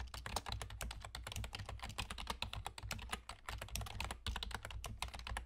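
Fingertips of both hands type rapidly on the hollow key caps of a black plastic external gaming keyboard with a German layout. A dense, continuous stream of short, bright clicks and clacks rises over a steady low hum, each keystroke dying away almost instantly.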